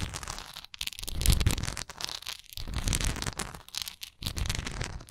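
Long nails scratch and tap across a textured wax candle, making dense, crackly scratching bursts over a low, thumping body. The sound comes in uneven waves, with brief quiet gaps between stretches of rough, bright scraping.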